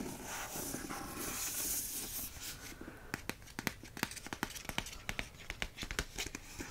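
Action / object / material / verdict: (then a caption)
scrape / hardcover book with paper dust jacket / paper / none. Fingertips scratch the front of a hardcover book's paper dust jacket, then trace along its spine. The first half is a steady, bright, hissy scratching; it then thins into quieter rubbing punctuated by a quick series of sharp, dry ticks.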